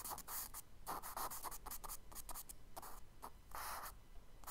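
A charcoal stick makes fast scratching strokes on a tan kraft paper sketchbook page lying flat on a table, drawing tree branches. Quick, dry, bright scratchy bursts come one after another with a midrange texture near 1 kHz, ending with a longer stroke before a few final short scrapes.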